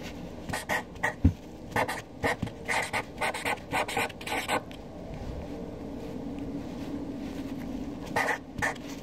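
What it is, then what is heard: Felt-tip marker writing on paper. A hand with long dark nails writes names with a black Sharpie felt-tip marker on a flat white paper sheet lying on a dark desk, the tip scratching and rubbing across the paper. Quick, uneven bursts of dry, bright scratchy strokes fill the first few seconds. A quieter stretch of low hiss follows before a few more strokes near the end.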